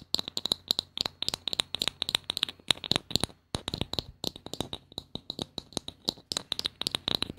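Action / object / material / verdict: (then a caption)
tap / small hollow plastic bottle cap / plastic / none. A small hollow blue plastic bottle cap, held close to the mic, is tapped and scratched with long painted nails. About forty quick, bright clicks come in uneven bursts, each ringing with a sharp high tone, with a brief pause in the middle. Each click cuts off almost instantly, leaving almost no low end.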